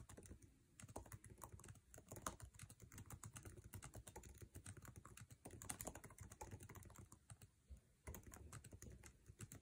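Fingertips of both hands type fast on the backlit, low-profile scissor-switch keyboard of an aluminum MacBook Air resting on a table, tapping its plastic keycaps. A dense, continuous stream of short, dry clicks and soft thuds comes with a deep, padded body and a bright, crisp edge on each tap. The typing barely pauses except for brief lulls near the start and end.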